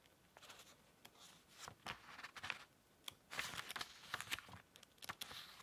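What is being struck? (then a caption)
Paperback book, paper pages. A thick paperback book lies open on a green cloth table while both hands riffle and flip a bundle of its paper pages with the fingertips. The result is a quiet, bright run of dry rustles and short crisp flicks with hardly any low end. Each flick dies out almost at once.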